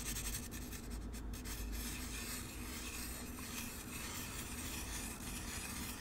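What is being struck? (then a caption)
Expanded polystyrene packaging insert. Fingertips rub and scratch the surface of a hollow, empty white molded expanded-polystyrene packing insert held close to the microphone. A continuous dry, rasping scrape is heard, with squeaks as the foam pieces rub against each other, over a steady low rumble and a faint tone near 240 Hz.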